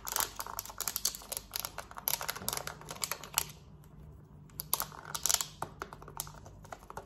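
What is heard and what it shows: Long nails tap and scratch fast across the buttons of a small, hollow black plastic Samsung TV remote. The result is a rapid run of sharp, bright plastic clicks and scratchy rasps. The sound thins out to a brief quiet stretch midway before the quick tapping picks up again.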